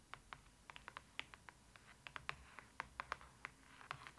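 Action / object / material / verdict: tap / glossy cardboard book page / cardboard / none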